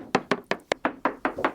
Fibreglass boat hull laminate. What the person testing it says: to be honest with you, she's tapping really well